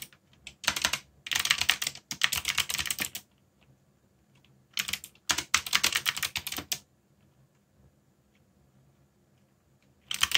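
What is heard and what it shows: Fingertips type on a backlit mechanical keyboard with black plastic keycaps, producing rapid, bright plastic clicks and clacks. The typing comes in three bursts, the first two lasting a few seconds each and the last starting just before the end, separated by quiet pauses.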